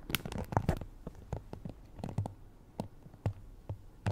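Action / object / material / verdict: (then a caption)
flick / plastic hairbrush bristles / plastic / none. Long painted nails scratch and flick across the many thin bristles of a black plastic Conair paddle hairbrush held in both hands. The result is a quiet series of short, dry flicks and scratches, clustered at first and then spaced apart. Each has a soft low thump, a bright crisp edge and almost no ring.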